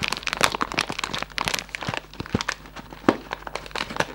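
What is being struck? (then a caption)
Cardboard candy box with plastic window. A medium-size, hollow Raffaello cardboard gift box with a plastic window is held in both hands and squeezed and rubbed with fingertips. It gives a steady stream of dry crinkling and crackling, with bright, short snaps that die away almost instantly. A few louder crunches stand out over a quiet background.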